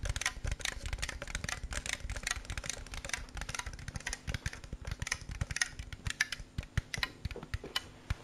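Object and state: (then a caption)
Plastic snack jar. A hand-sized clear plastic jar with a red label, partly filled with snacks, is tapped quickly with fingertips and nails for about eight seconds. The taps come as a dense, steady run of short, dry clicks with low hollow thumps and bright plastic ticks, each dying away almost at once. Toward the end the taps spread out into more distinct, sharper clicks.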